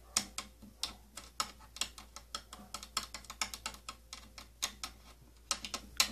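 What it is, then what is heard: Plastic case, scratched along ridges. Fingernails scratch and tap across the ridges of the slotted rim on an old purple plastic tattoo kit case, a hollow cylindrical holder. About 26 short, bright, ratchet-like clicks ring out in an uneven run, each dying away almost instantly, with little low end.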